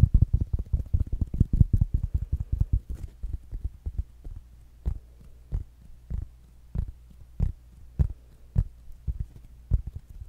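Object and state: Fabric-covered smart speaker.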